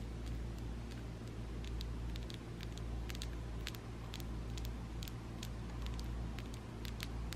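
Long coffin-shaped acrylic nails are tapped together, nail against nail, with both hands interlocked above a table, making small, solid plastic clicks. Quick, bright ticks come at an uneven pace over a steady low hum.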